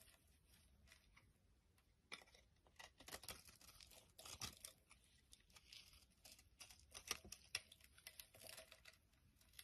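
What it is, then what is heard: Bar of soap being shaved. A utility knife blade shaves curls and flakes off a solid, bright yellow bar of soap held in the hand. Quiet, crisp scraping and crinkly tearing strokes come in irregular bursts, mostly bright and high with little low end.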